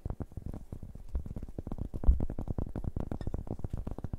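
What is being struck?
Round cork board.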